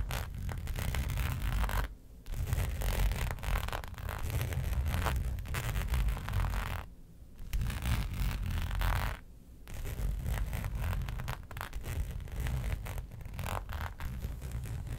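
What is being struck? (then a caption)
Embossed faux leather sheet. Long pointed nails scratch across a flat black faux leather sheet with a raised hexagon pattern, lying on a fur rug. The result is a steady, dense rasping scratch with a heavy low rumble, broken by brief pauses near 2, 7 and 9.5 seconds.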